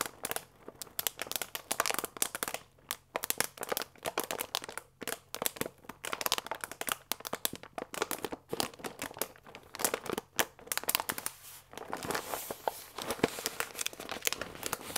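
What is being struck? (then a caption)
Paper pasta bag with plastic window holding dry fusilli. A full paper fusilli bag with a plastic window is squeezed with fingertips, then laid flat on the table. It gives dense, bright crinkling and crackling made of many sharp clicks and rustles. Near the end this turns into a steadier, broader rustle.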